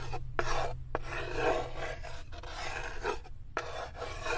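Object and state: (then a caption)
Small wooden block scraped in a wooden tray. A small solid light-wood cube, held in the fingertips, is scraped back and forth across the floor of an empty unfinished wooden tray, with long nails also touching the wood. The result is a steady, dry rasping rub in repeated strokes, broken by brief pauses and sharp clicks where the direction changes, over a low background hum.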